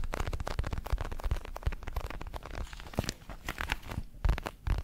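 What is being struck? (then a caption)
Padded synthetic leather boxing glove. A large red padded boxing glove of synthetic leather, hollow with foam padding, is held in both hands while fingertips tap and scratch its surface. The result is a dense run of soft, dull thumps mixed with crackly scratching, mostly low in tone, with each touch dying away almost at once.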